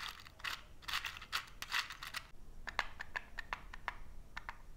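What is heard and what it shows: Fingertips slide and scratch across a small cardboard matchbox full of wooden matches as its drawer is opened and then closed. The first half is dry, bright, papery scraping in broad bursts, followed by a series of short, crisp ticks and taps centered around 1.7 kHz that stop almost instantly.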